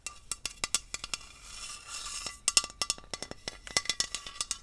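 A tall green aluminium aerosol hairspray can, hollow and pressurized, is held upright in one hand and tapped along its body with long acrylic nails. About two dozen quick, bright, metallic clicks come in uneven bursts, each dying away almost at once, with a soft airy hiss filling a short pause in the middle.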